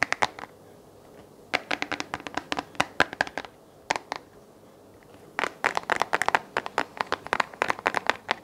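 Fingertips and nails tap and scratch the hollow round base of a small white plastic desk lamp held in both hands. Quick, dry, bright clicks and scrapes come in bursts, with short quiet pauses between them. Each tap stops almost instantly, with no ring.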